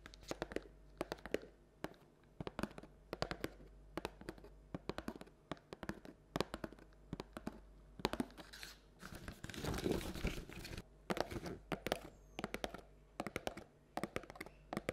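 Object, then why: Paperboard bucket. Long black and red nails tap and scratch the outer wall of a hollow printed paperboard Halloween treat bucket held in the hands. Quick, dry clicks come in clustered bursts over a low steady hum. Around ten seconds they give way to a denser, rougher stretch of scratching.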